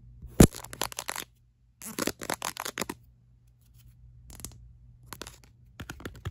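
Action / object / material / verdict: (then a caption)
tap / ribbed silicone phone case / silicone / none. Long acrylic nails rapidly tap and scratch the back of a ribbed black silicone phone case held low. The clip has quick, clicky bursts of sharp taps and rasping scrapes with bright edges, separated by short pauses. A steady low hum runs underneath.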